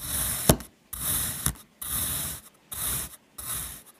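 A metal knife cuts diagonal slices in a crosshatch pattern through a solid, flat, light blue kinetic sand mango shape. Five grainy, rasping scrapes are heard, each separated by a short silence, with a sharp click partway through the first two. The sound is a dry, crumbly rub, full in the lows with a bright hiss on top.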